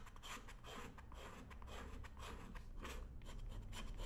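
A worn black leather work boot on a shoe-shine stand is held steady by hand while a thin metal edge tool scrapes along the welt and sole edge. The strokes come as repeated, uneven rasping scratches over a low rumble, with bright bursts of scraping.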